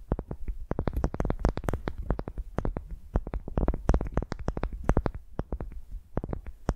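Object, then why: Wooden ball. A solid pale wooden ball resting on a microphone is scratched and tapped with the long nails of both hands. The result is a rapid, irregular stream of crisp clicky taps, each with a deep, boomy low thump and a bright tick on top, over a soft scratching rustle throughout the clip.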